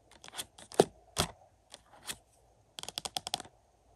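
Short-nailed fingertips tap and scratch across the back of a thin, hollow, glossy printed cardboard slipcover on a Mission: Impossible Dead Reckoning 4K movie case lying on carpet. Scattered dry, papery taps and brief scrapes give way to a quick run of about seven crisp taps near the end.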